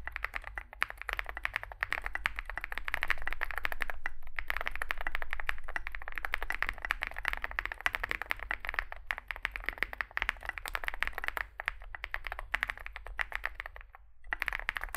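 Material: Plastic.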